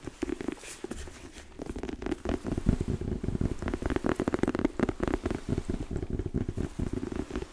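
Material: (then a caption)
Rubber. Long nails scratch and tap along the lugged tread of a black, solid, chunky rubber boot outsole held up in the air. The result is a dense, rapid patter of dull, muffled scrapes and soft taps, mostly low and thick with little brightness, that stays fairly steady throughout.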